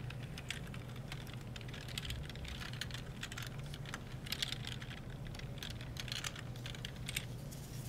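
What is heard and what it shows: A gloved hand rubs a folded disinfectant wipe along a black plastic computer keyboard, pressing down the hollow plastic key caps. The result is a dense run of soft, bright clicks and taps with a wiping rustle, over a steady low hum.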